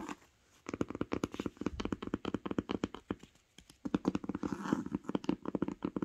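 Long acrylic nails tap and scratch the grey cloth-covered boards and spine edge of a closed hardcover book resting on a blanket. The result is a rapid series of short, dry, muffled clicks and soft thuds centred around 285 Hz, each dying away almost instantly. The run breaks into two bursts with brief quiet gaps near the start and just before the four-second mark.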